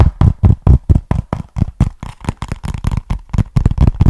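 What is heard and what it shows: Fingertips and nails tap and scratch the surface of a small, flat, hollow brown cardboard box held in both hands close to the mic. The result is a quick, somewhat uneven run of short, dry, hollow knocks with a deep, boomy body and very little ring.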